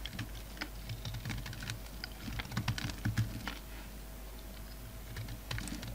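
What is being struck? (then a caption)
Bar of soap cut with a knife blade. A utility knife blade scrapes and cuts flakes from a solid black and white bar of soap held in the hand. The result is a quiet run of quick, crisp scratching ticks with short bright edges, over a steady low hum.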